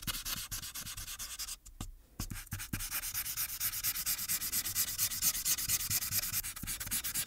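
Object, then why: Marker tip on thin paper sheet. A marker tip rubs in small strokes at the right edge of a thin paper coloring sheet on a clipboard, with the other hand steadying the sheet. It makes a bright, scratchy rubbing of quick, uneven strokes, with a brief pause near two seconds. The strokes then resume steadily and slightly louder.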